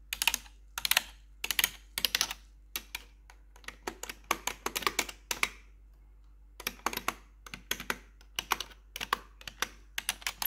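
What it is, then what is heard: Plastic computer keyboard. Metal claw nails tap the left-side keys of a black plastic RGB backlit computer keyboard. Quick clusters of bright, sharp plastic clicks come in short bursts, with a brief quiet pause near the middle before the rapid tapping resumes.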